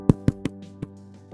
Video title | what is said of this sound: 【Bread Classes 101】Sweeteners and their effects! - THE SUGAR & YEAST THING IS A HOAX!!! | it's like I'm knocking on a cardboard box